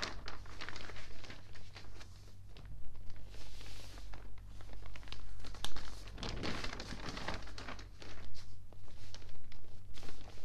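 Palms and fingertips slowly rub and smooth an open, water-damaged newspaper of thin, wrinkled newsprint. Soft, continuous crinkling and rustling is broken by brief bright crackles, over a steady low hum.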